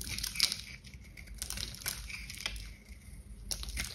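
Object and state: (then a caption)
Glitter soap bar scraped with a knife. A kitchen knife scrapes with repeated strokes across the surface of a hand-sized, solid pink bar of dry glitter-coated soap held in gloved hands. The sound is a bright, crunchy, crinkling scrape with short crackling bursts over a faint low hum.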